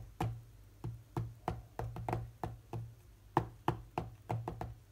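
Fingertips of both hands tap rapidly on the glass touchscreen of a large, solid tablet lying flat. About 16 short, dull, low-pitched taps land in an uneven rhythm, each with a soft thud and almost no ring or brightness.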